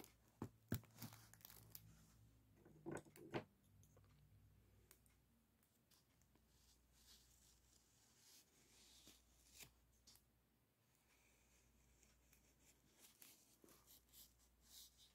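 An expanded, hollow aluminum foil flexible duct is held by hand while a small dark-bristled brush strokes and scratches across its crinkled foil. The result is quiet, irregular crackling and scraping with brighter crinkly bursts, plus a few louder sharp scratches early on, over a low steady hum.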